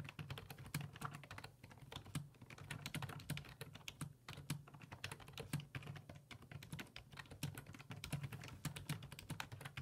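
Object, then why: Plastic computer keyboard. Fingertips type steadily on the hollow plastic keys of a black plastic full-size computer keyboard resting on a wooden desk. The result is a rapid, continuous stream of short, clicky taps with bright edges over a steady low hum.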